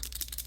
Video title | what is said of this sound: Easy Wood Grain Technique for Model cars and trucks! | got a ball bearing in there you can hear it you have to shake it up real good